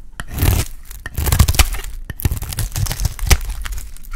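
A solid, dry pink bar of soap held in the hand is shaved with a metal utility blade. Repeated dry scraping and crumbly, tearing cuts come in uneven bursts, with a heavy low-end thud under them and sharp bright clicks between strokes.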